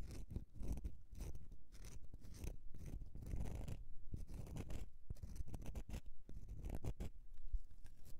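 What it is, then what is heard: Bar of soap being scratched. Long nails scratch across an embossed solid bar of soap held on its edge, shaving off flakes. The result is a dense run of quiet, irregular scraping strokes with a dull, low-heavy texture and short bright flicks between them.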